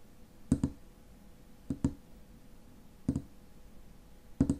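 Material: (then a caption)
Metal. Fingernails tap the silver metal cap of a tall frosted glass lotion bottle. The result is four quick pairs of short, dry clicks with a low-mid knock and almost no ring, spaced unevenly over a faint steady hum.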